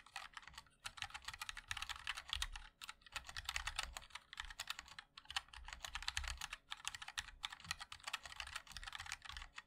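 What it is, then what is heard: Mechanical keyboard with plastic keycaps. Fingertips of both hands type continuously on a compact 60% MOD-L mechanical keyboard with a black case, white and black plastic keycaps and linear switches. Rapid, bright, clacky key taps arrive in dense runs, each tap dying away almost instantly, with brief pauses between the bursts.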